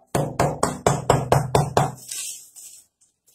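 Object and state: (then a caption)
Rock-hard cheese bread. A pão de queijo (cheese bread), soft with melting cheese when bought but gone rock-hard after being brought home, is knocked against a wall. Eight sharp, dull thuds come in a quick, fairly steady rhythm with a short ringing tail. The knocks show the bread is hard as a rock, too hard even to bite.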